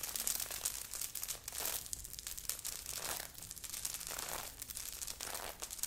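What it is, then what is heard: Sequinned knit sweater being scratched. Long nails on both hands scratch fast and hard across a grey knit sweater with a beaded, sequined heart on the chest, worn by the wearer. The scratching makes a dense, bright crinkling and crackling rasp that rises in quick rough bursts and dips between strokes, with almost no low end.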